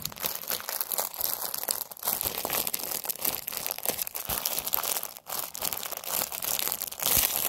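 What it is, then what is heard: Plastic-wrapped paper napkins being crinkled. A pack of Halloween paper napkins in a clear plastic wrapper, held in both hands, is squeezed and crinkled with fingers and nails. A steady, bright crinkling and crackling of plastic fills the clip, with almost no low end and brief quiet dips near 2 and 5 seconds.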